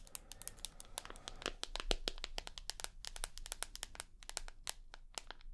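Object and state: Smartphone tapped with fingernails.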